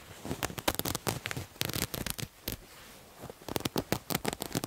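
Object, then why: Terry cloth towel. Fingernails scratch a multicolored striped terry cloth towel with a visible looped edge, producing quick, dry, broadband scratching strokes that reach into the high range. The strokes come in rapid clusters, with a brief quiet pause near the middle before a final flurry.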